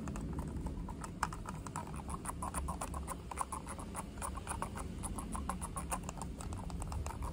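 A small black plastic computer mouse with a hollow shell is held in both hands and tapped with the fingertips on its top and sides. The result is a steady stream of quick, light, dry clicky taps that die away almost instantly over a low, muffled background rumble.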